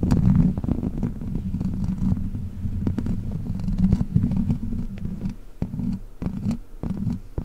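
Long black plastic witch-finger claws scratch across the hollow metal mesh grille of a large silver microphone. The result is a dense, low, purr-like rumbling scrape, with quick scratchy strokes that flicker up into brief brighter crackles.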